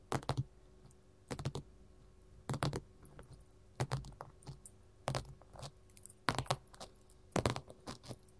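Metal finger rings tap on a gold mat in quick clusters of clicks roughly every second, with sharp, bright attacks over a low thud near 130 Hz. Each tap dies away almost instantly against a faint steady background hum.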